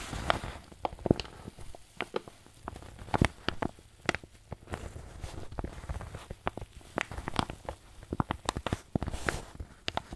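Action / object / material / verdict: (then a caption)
scrape / paper bag filled with flour / paper / none. A wrinkled white paper bag, apparently filled with flour, is pressed and crinkled with fingers and thumbs. The result is a quiet, irregular stream of dry crinkles, sharp crackling snaps and soft low thumps that die away almost instantly.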